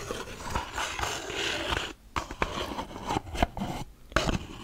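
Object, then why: Small closed cardboard box tapped with fingernails. Long black acrylic nails tap and scratch the faces and edges of a small, closed, hollow brown kraft cardboard box held in the hands. A steady papery scratching gives way to sharper, hollow taps separated by brief quiet gaps.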